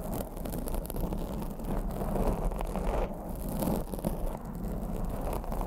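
Long blue acrylic nails scratch and grip a black foam microphone windscreen. The result is a steady, dense, low rustling scrape with soft crackly texture and small swells in loudness throughout.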